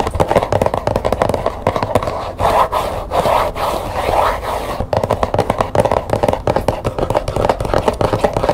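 Long nails tap fast and scratch along the top edge and back panel of a small, hollow printed cardboard tea box held up in the air. Quick, dry taps with a papery midrange body alternate with a stretch of softer, continuous scratching in the middle, then rapid tapping resumes.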